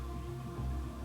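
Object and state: Nothing is struck.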